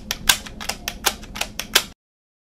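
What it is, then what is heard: Plastic portable cassette player. Fingertips and nails tap and click on the buttons and hollow casing of a small handheld blue-and-black plastic portable cassette player held in both hands. About ten bright, sharp clicks sound over roughly two seconds, each dying out almost instantly, followed by silence.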